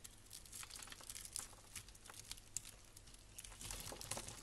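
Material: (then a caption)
Soap. A blade scrapes and carves crunchy grid-cut cubes off a solid rectangular blue and white striped bar of soap held in the hand, with another soap bar lying nearby. Quick, uneven crisp crunches and crackles with bright, high-frequency texture follow one another rapidly over a faint low hum.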